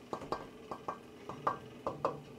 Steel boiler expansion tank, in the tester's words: when I knock on it it sounds like it's full of water so I don't believe that the air pocket is still there